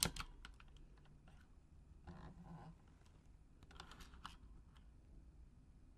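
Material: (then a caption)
Plastic. Long acrylic nails tap the plastic keycaps of a full-size pink Razer Huntsman mechanical gaming keyboard with RGB backlighting in a typing motion. Quiet, sharp, bright clicks come in scattered bursts, with a sharper tap at the start and denser clusters around two and four seconds, over a low background hum.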